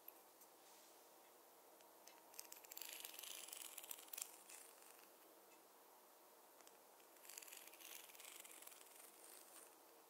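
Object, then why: Wooden fine-tooth comb. A wooden or bamboo fine-tooth comb is tapped while parting hair. It makes two bursts of quick, bright, dry clicking, separated by a quiet stretch. Each tap is crisp and dies away almost instantly.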